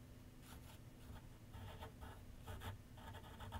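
A pencil tip makes light strokes across a large white sheet of paper mounted on a board with solid backing, set on a wooden easel. Soft, dry scratching comes in short, uneven bursts over a low, steady background rumble, staying quiet throughout.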